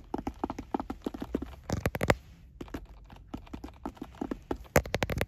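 Fingertips and nails tap and scratch a hollow, closed, oval sunglasses case with a hard shell covered in brown woven fabric, resting on a car seat. A quick run of short, dry, hollow knocks comes through with soft scratchy rustle between them. Two louder clusters of sharp taps stand out just after two seconds and again near the end.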